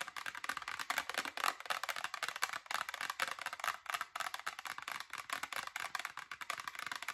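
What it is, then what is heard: Mostly empty plastic soda bottle. Long acrylic nails rapidly tap and scratch a hollow, mostly empty Diet Dr Pepper clear plastic bottle with a red cap and paper label. The result is a dense, continuous stream of dry, clicky plastic taps and rustling scratches, centered in the midrange with a bright edge and no low end. Each tap stops almost instantly with no ring.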